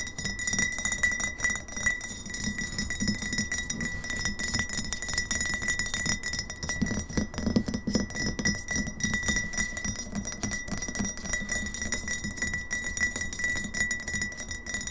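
Long fingernails rapidly tap a medium glass kombucha bottle with a paper label, partly filled with liquid and held upright on a wooden table. The result is a continuous stream of quick, dry glassy clicks and clinks that die away almost instantly, over a low body tone near 210 Hz and a steady faint bright ringing.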